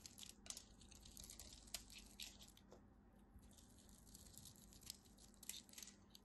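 A blade carves crunchy cubes off the end of a solid purple-and-white striped bar of dry soap held in hands with white nails. Bright, crisp crackles and sharp clicks come in quick bursts with no ringing, over a faint low hum. The cuts are quiet and dry, with a few louder snaps standing out.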